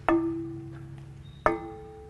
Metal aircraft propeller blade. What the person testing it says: not a dead sound if you do this and don't hear that nice ringing you may have a crack somewhere in the prop